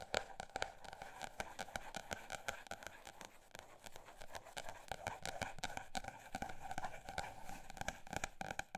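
A paper notebook is tapped with a mix of fast and slow taps, making a dense run of short, dry clicks and knocks. The taps carry a mid-range tone around 600 Hz with bright edges and almost no ring, while the level rises and falls as the tapping speeds up and slows down.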